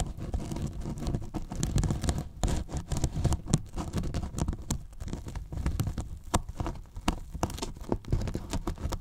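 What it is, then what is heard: Polyethylene foam box being scratched. Fingertips and short nails pinch and scratch the top edge of a large, hollow, white polyethylene foam box. The result is a dense, irregular run of crinkly, tearing-like scratches that are dry and short, with most energy in the low end and little brightness.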